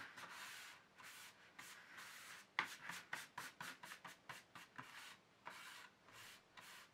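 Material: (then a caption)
Plastic. Fingertips and nails of both hands rub and scratch the base of an empty black plastic paint tube tray. Soft, breathy rubbing strokes with a bright hiss give way in the middle to a run of quicker, sharper scratches, then return to longer, smooth rubs. The sound stays quiet and dry, with almost no low end.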